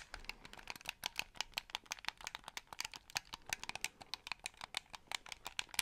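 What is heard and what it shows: A white, hollow plastic game controller is held in both hands close to the mic while fingertips click its triggers and buttons. About three dozen quick, dry plastic clicks come in an uneven stream, bright and centered near 2.4 kHz with almost no low end. Each click dies out almost at once, leaving the overall level quiet.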